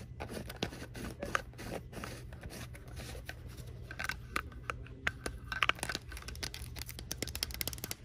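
Long nails tap and scratch the body of a clear purple plastic water bottle with a printed design, hollow and empty, while it is held. Quick, sharp, bright clicks and scratchy scrapes come in irregular bursts, some louder than others, over a steady low hum.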